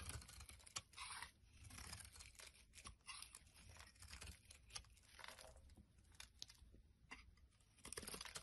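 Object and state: Bar soap being carved.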